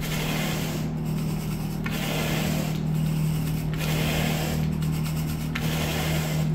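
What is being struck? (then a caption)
Synthetic carpet pile under a plastic-bristle rake. A blue plastic-bristle rake on a long wooden pole is drawn across speckled brown and gray wall-to-wall synthetic carpet, rubbing and grooming the pile. Repeated scratchy, hissing brush strokes sweep back and forth over a steady low hum. The strokes run continuously at an even level.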